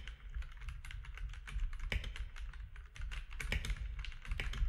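Fingertips of both hands type steadily on a compact mechanical keyboard with grey, white and orange plastic keycaps. A rapid, dense stream of short, bright plastic clicks and clacks plays over a steady low rumble, with each keystroke dying away almost instantly.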